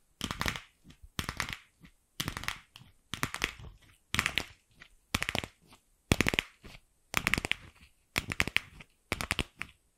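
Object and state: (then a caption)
Hollow plastic ball. Long nails tap and scratch the surface of a single empty, fist-sized, pink hollow plastic ball. The clicks come in about ten short, bright bursts of rapid, dry taps with a faint hollow body and almost no ring.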